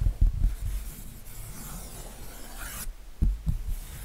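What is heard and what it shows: Fingertips rub and scratch across the acrylic-painted area of a giraffe painting on a white canvas. Soft low bumps and a faint steady rubbing build into a brighter scratchy swell, followed by two distinct dull low thumps.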